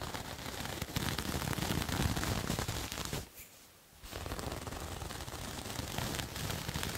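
Fingernails scratch the surface of a soft, multicolored striped knit or fleece cloth, sock-like and held in one hand. The result is a dense, crackly rasp spread from deep rumble to bright hiss, with quick rough strokes. It drops to near silence for about a second midway, then resumes at a steady level.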